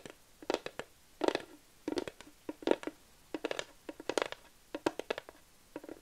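A flat wooden plaque sign is tapped and scratched with long nails. Quick, dry, irregular clicks and short scratchy bursts come in clusters, with a woody mid tone and bright edges that fade almost instantly.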